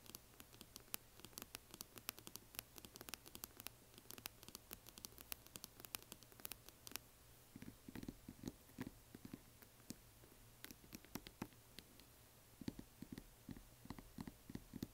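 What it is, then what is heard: Resin coffin box tapped with nails. Long nails tap and scratch the lid of a closed, hollow yellow glitter resin or plastic coffin box standing upright. The result is a quiet, dense run of sharp, short clicks and bright scratching over a steady low hum, with softer thumpier taps in the second half.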